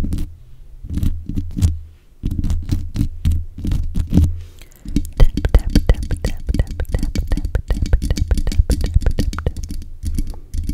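Long nails tap and scratch the hollow mesh grille of a black metal desk microphone, along with its top, base and buttons. The first few seconds hold clusters of deep, boomy thumps with brief pauses. It then shifts into a rapid, steady stream of close taps and scratches with short bright clicky edges over a heavy low rumble.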